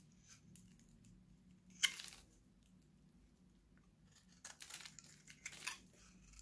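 A solid, hand-sized oval green Nivea bar soap, held in one hand, is shaved with a steel utility knife blade as dry shavings pile up. A single sharp, bright scrape stands out against near silence, followed later by a cluster of quick, crisp, crinkly cutting scrapes, all high-pitched with almost no low end.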